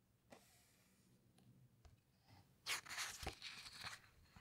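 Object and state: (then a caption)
Glossy paper pages being rubbed and turned. Fingertips and long nails squeeze and rub the glossy paper pages of a large hardcover underwater book, then turn a page slowly. Faint taps and soft rubbing give way to a louder, bright, crinkly rustle of paper as the page turns, with a few sharp crackles before it settles.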